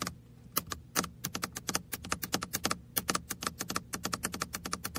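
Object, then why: Plastic car-shaped computer mouse. Fingertips and nails tap the roof and sides of a small red hollow plastic car-shaped computer mouse held on the lap. About 35 quick, dry, bright clicks follow one another at an uneven pace, with almost no ring after each, over a faint low hum.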